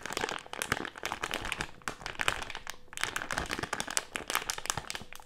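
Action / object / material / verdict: scrape / plastic-film candy bag with gummies inside / plastic film / none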